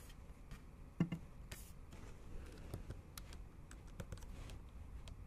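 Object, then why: Plastic laptop keyboard keys tapped with fingernails. Long acrylic nail tips and fingertips tap the backlit black plastic keys of a MacBook Pro in a silver aluminium body in a typing motion. Quiet, dry clicks come in an uneven rhythm over a low background, with one louder tap about a second in. Each click dies away almost instantly.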